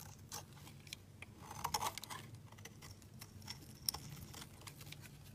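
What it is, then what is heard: Soap block being shaved with a blade. A solid rectangular beige soap block is shaved with a utility knife blade into flakes. Quiet, crisp scraping and cutting ticks come in a loose, uneven series with a bright edge over a faint low hum. A slightly louder burst of shaving sits near the middle, and a sharp click comes near the end.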